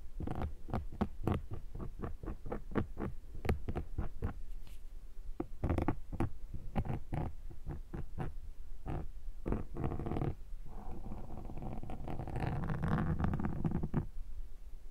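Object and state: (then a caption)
Foam microphone windshield scraped with metal. A thin metal pick is scratched across a soft, rounded black foam microphone windshield, producing a run of quick, muffled scratching strokes that are dense and low-heavy. Toward the end, the strokes blur into a continuous rough rustling and squishing of the foam before fading out.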